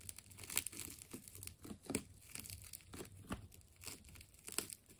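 A utility knife slices through the layers of a partly cut ball of wound purple and blue plastic tape. The result is a steady run of soft crinkling and tearing, broken by several sharper, bright snaps.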